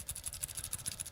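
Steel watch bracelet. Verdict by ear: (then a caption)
Solid. The other side of the steel bracelet on a Dificiano Marlin diver watch is shaken, giving a quick run of about seven bright, high metallic jingles of its small, short links over soft low thumps. Each clink cuts off almost at once, sounding solid rather than tinny.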